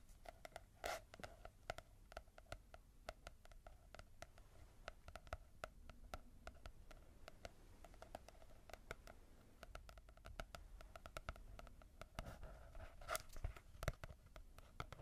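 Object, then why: Small paperback book with matte cover. Long nails tap and scratch a small paperback manga volume with a matte cover, a solid stack of paper. Quiet, dry, rapid clicks and taps die away almost instantly over a soft scratchy rustle, with a faint hollow tone in the midrange and a few louder taps near the start and near the end.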